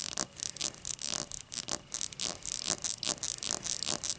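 Long matte dark nails scratch and tap the thick starburst-cut base of an empty, hollow, clear cut-crystal tall glass. A rapid series of bright, dry scratching and tapping bursts sits almost entirely in the high range, with very little low end. Each sound stops almost instantly, with no ringing tone.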